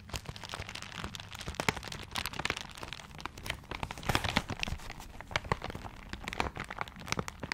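Fingertips scratch and crinkle the wrapping paper of a paper-wrapped gift close to the mic. The result is a dense run of crisp, bright crackles and rustles with sharper snaps scattered throughout, over a soft low rumble.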